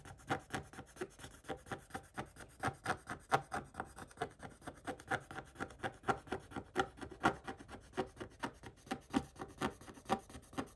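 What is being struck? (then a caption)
Scratch-off coated paper page and wooden stick. A wooden stick scrapes back and forth across a coated scratch-off paper page, making short, dry rasping strokes. The strokes repeat at about two per second with a loose, uneven rhythm over roughly eleven seconds. The scratchy sound sits mostly in the mid range, with little low or high content and almost no ring after each stroke.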